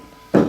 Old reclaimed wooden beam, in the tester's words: il nucleo riverbera di un suono chiaro, il che significa che è ancora resistente e mantiene una buona qualità